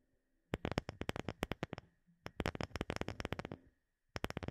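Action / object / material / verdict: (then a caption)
tap / round wooden disc / wood / none. A round, light-colored, palm-sized wooden disc that looks solid is held behind the microphone and tapped with long fingernails. Three bursts of rapid, dry clicking taps are heard, each sharp and short with almost no ring, a low woody knock under a bright nail click. Brief quiet gaps separate the bursts.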